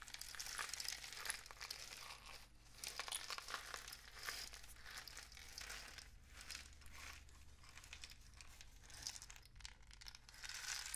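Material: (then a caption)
Cardboard. A long, hollow, painted cardboard rain stick filled with loose grains is held diagonally in both hands and slowly tilted and rotated. The grains pour through in a soft, continuous, bright rattling hiss that swells and fades in waves. A faint steady low hum runs underneath.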